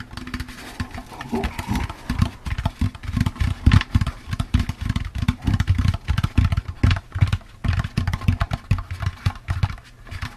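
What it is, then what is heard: Hollow empty plastic pumpkin bucket. A hollow, empty orange plastic jack-o'-lantern candy bucket is tapped quickly with the fingertips and nails. The result is a steady, uneven stream of short, low, hollow thumps that die away almost at once, with faint clicky ticks from the nails riding on top.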